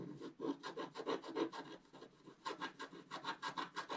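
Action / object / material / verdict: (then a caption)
scrape / wax-coated scratch-art paper and wooden stylus / waxed paper / none. A wooden stylus scratches the black coating at the upper right of a wax-coated scratch-art paper page, held down by the left hand, revealing orange colour beneath. A quick, uneven run of short, dry, rasping strokes repeats about three times per second, with a brief lull near the middle. Each stroke has a low body around 330 Hz and a bright scratchy edge.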